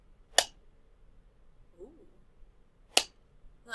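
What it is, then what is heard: Plastic cup. A plastic cup is tapped, giving short, bright, plasticky clicks that stop almost instantly, with a quiet pause between taps and a third tap starting at the very end. A faint low murmur is heard in the gap.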